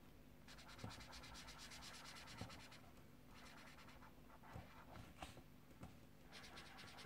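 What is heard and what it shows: A yellow colored pencil is scratched and rubbed back and forth across the paper page of a small paperback mandala coloring book lying open on a desk, while the fingertips of the other hand hold the book steady. Bursts of quick, bright, gritty strokes come and go over a steady low hum, with a few soft thumps where the pencil presses harder.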